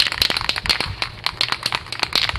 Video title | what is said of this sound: Pt:2 Will it Deliver? 1964 21 Window VW Bus Transporter Revival Drag Link Install | shake it till you can't hear the rattle no more